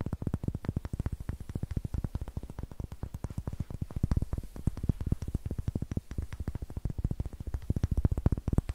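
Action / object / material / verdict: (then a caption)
tap / pine wood block / pine wood / none. Fingernails rapidly tap and scratch the flat faces and rough greenish end of a solid, light, raw pine wood block held close to the microphone. The result is a fast, steady stream of short, dull knocks that are heavy in the low end and die away almost instantly, with faint brighter scratchy ticks between them.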